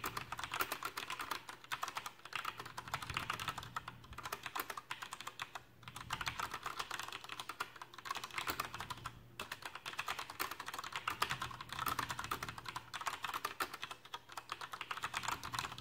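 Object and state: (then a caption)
Plastic mechanical keyboard being typed on. Both hands type with their fingertips on a Coolermaster Masterkeys PRO M mechanical keyboard with black plastic keycaps and tactile Cherry MX brown switches. The result is a steady, continuous patter of short, dry, clicky keystrokes centered in the midrange with a bright edge. There are brief pauses between bursts.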